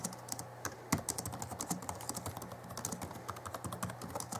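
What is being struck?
Plastic laptop keyboard keys.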